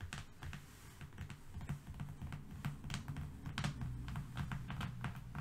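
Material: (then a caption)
Cardboard. Fingernails of both hands rapidly tap and scratch a long, thin, flat strip of brown corrugated cardboard lying on a fluffy rug. The result is a quiet, fast, irregular patter of short, dull taps with crisp scratchy clicks.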